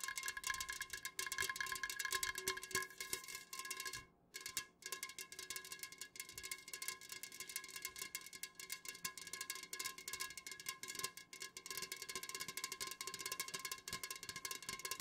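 Long nails on both hands fast-tap the sides of an unopened, full Jumex Guava Nectar aluminum can standing upright. The result is a dense, continuous stream of bright, crisp clicks with a faint metallic ring near 2.1 kHz, very little low end, and a brief gap around the four-second mark.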